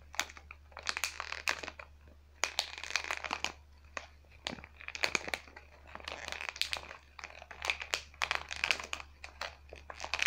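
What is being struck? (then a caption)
Plastic blister pack with cardboard backing. A hand-sized travel pack of face-care tubes, sealed in a clear plastic blister with a printed cardboard back, is held and squeezed, then crinkled and scratched with long fingernails. The result is a steady run of bright, crisp crackles and scratchy bursts, with a faint low hum underneath.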